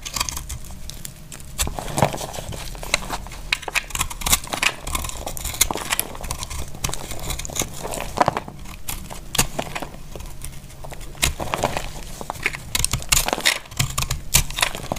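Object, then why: Bar of soap cut with a small knife. A small knife slices crumbly shavings off a solid, dry orange soap bar held in the hand. Repeated crisp, crackling cuts and crumbling scrapes come in dense bursts, with bright edges over a low background rumble.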